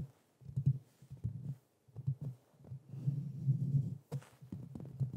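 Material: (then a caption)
Metal. Fingertips and nails of both hands tap and scratch the hollow metal mesh grille of a black Blue Yeti microphone. The result is a run of dull, low, thumping taps that die away almost instantly, coming in uneven clusters with short pauses between them. A brief brighter scratch cuts through just after four seconds.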